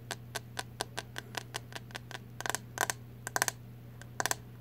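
Long nails tap and scratch the hollow plastic back of a green plastic paddle hairbrush with bristles, held horizontally. Crisp, bright clicks ring briefly, first at a steady pace and then in quick clusters of two or three, over a faint steady low hum.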